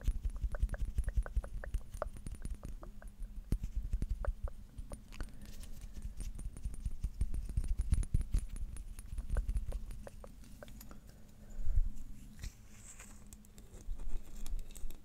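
Fingertips and nails tap and scratch a small, slim, clear glass perfume bottle with a red label and metal cap, held in both hands close to the microphone. Rapid, dense, short taps and scrapes sound as dull low thumps with faint bright clicks, building to a few louder bursts near the end.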